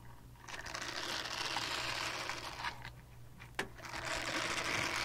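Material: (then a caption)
Silicone. Long dark nails scratch a small purple-pink silicone cleansing pad, producing a dense, bright scratching texture with a steady low hum underneath. The scratching comes in sustained bursts, briefly thins out, and a sharp tap cuts in before the scratching resumes.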